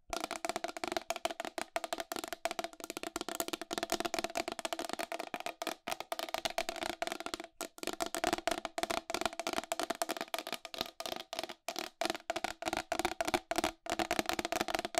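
Long pink acrylic nails tap and scratch quickly on the face and rim of a round white plastic wall clock, about 25 cm across, with a hollow case, raised numerals and a clear face cover, held in both hands. A rapid, dense stream of dry, clicky taps with a hollow, woody tone around 320 Hz and bright edges, each hit dying almost instantly. Brief pauses break the steady patter, with no talking.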